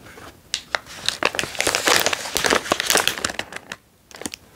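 A foil-lined plastic almond snack bag is held and turned while fingers and thumbs crinkle it. Bright, crisp crackles come in irregular bursts with sharp snaps, carrying almost no low end. They pause briefly near the end before a few more crinkles.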